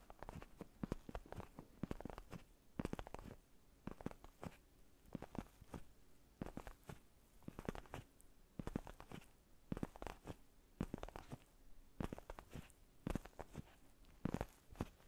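Fingertips and short nails tap and scratch a soft, foam-filled black padded faux-leather neck pillow close up. The result is a steady run of quiet, dull, low-heavy taps mixed with brief scratchy rustles and a faint hum underneath.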